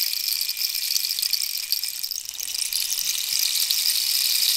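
A long, hollow, dried cactus-wood rainstick is held diagonally while long nails scratch and tap its ridged, holey wooden surface. The result is a steady, dense, bright rustle and crackle, with almost all of its energy in the high range and only a slight dip in the middle.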